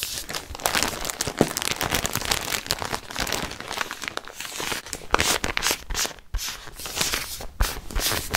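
Fingertips squeeze and crinkle a large clear plastic garment bag with a printed white label, which holds a folded knit sweater, close to the microphone. The result is a dense, bright run of crackling and crinkling with sharp little peaks and a brief quieter gap just past six seconds.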